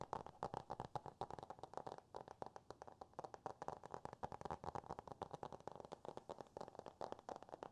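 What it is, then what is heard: Hardcover cardboard book. A small, solid hardcover book with a cardboard cover is held up and quickly tapped and scratched with fingertips and nails. It makes a fast, steady run of dry, hollow taps and scratchy strokes, centered in the midrange with a faint bright edge and almost no low end. The sound is quiet and close, with no ring after each tap.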